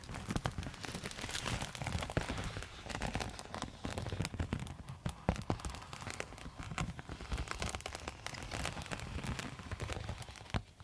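A silver quilted foil insulated zip pouch, held close, is scratched and tapped with long metal nail tips. The result is a steady, dense crackling patter of short, dry clicks and rustles that sounds almost like rain, with a heavy low-end rumble and occasional sharper taps standing out.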